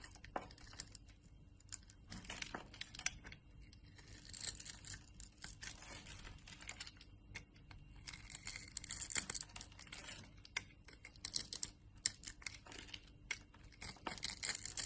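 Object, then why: Bar of soap. A utility knife blade scrapes small crisp cubes off a solid orange bar of soap that has been scored into a grid and is held in the palm. Quiet, bright crackling and crisp snapping scrapes come in dense, irregular bursts, with sharper clicks standing out now and then over a faint steady low hum.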